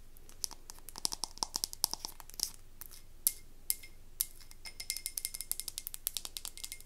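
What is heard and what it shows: A wax-filled frosted glass candle jar with a white-to-navy ombre finish is held and turned while long nails tap and scratch across the glass and its label. The result is a quiet string of quick, bright, high-pitched taps and clicks with light scratchy rustling between them, each tap dying away almost instantly.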